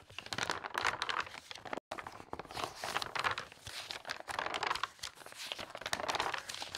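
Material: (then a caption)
Glossy paper. Fingertips with long red nails quickly turn and flip the pages of a large open interior design magazine made of thin glossy paper, lying flat on a fabric tablecloth. A continuous stream of crisp, bright paper swishes and crinkles comes with a brief silent gap just before two seconds in. The flips are dry and quick, with almost no low end.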